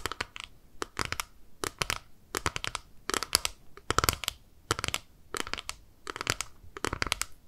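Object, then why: Plastic eyeshadow compact. A small, flat, clear plastic eyeshadow compact with pink eyeshadow inside is held in both hands and tapped and scratched with long nails. Quick clusters of sharp, bright clicking taps and scratchy crinkles come in short bursts separated by brief pauses, each snap dying away almost instantly.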